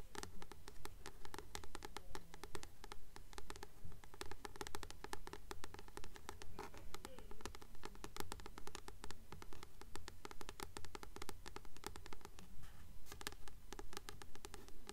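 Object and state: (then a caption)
Paperback book with glossy card cover. Long manicured nails tap and scratch the front of a blue *Practical Magic* paperback, a solid paper book with a glossy card cover held upright in both hands. The result is a steady, evenly paced stream of short, dry clicks and scrapes with a bright edge, over a low, soft rumble.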